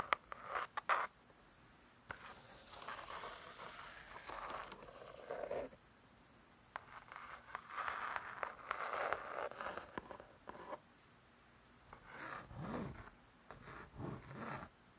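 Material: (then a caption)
Laminated cardboard. Long dark acrylic nails tap and scratch the laminated cardboard cover of a closed spiral-bound hardcover cookbook, "Vegetarian Cookery 2", lying solid on a soft surface. Soft, dry clicks mix with bright, rustling scrapes that come in bursts separated by quiet pauses, centered in the upper midrange around 1.2 kHz with little low end.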